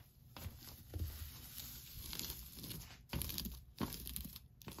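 Long nails scratch and rub through the strands of an orange plastic tinsel pumpkin decoration hung on a wall, with black felt face cutouts and a green tinsel top. The result is a dense, crinkling rustle with bright, tearing-like scrapes, broken by louder bursts of scratching.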